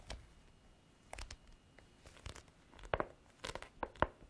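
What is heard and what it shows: A large, flat black faux-leather hard-cover diary with a grained leather-look surface is held in both hands and tapped and scratched with long artificial nails. Quiet, irregular taps and short scratchy rasps come from the cover, with a dry, papery crinkle. Sharper, brighter clicks with a hollow mid tone stand out toward the end.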